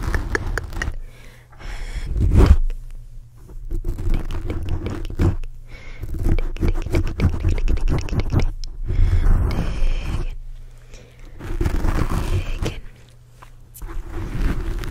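Fingertips and short nails scratch and pinch a soft, porous black foam cover fitted over the hollow head of a large black USB microphone. The result is dense, deep scraping and rumbling in uneven bursts, heavy in the low end, with brief quieter lulls between waves of intense scratching.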